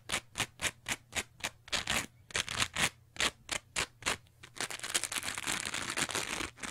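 Long nails scratch and squeeze a teal textured foam sponge with darker spots, making a quick run of separate bright, crisp scratching strokes. The strokes then blur into a denser, continuous rough rustle over a faint low steady hum.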